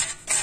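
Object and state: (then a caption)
Crispy pork cracklings. Crispy pork skin cracklings, rendered in an air fryer to make lard, are moved around in the basket, giving two bright, dry bursts of crackling and rustling. The batch turned out well.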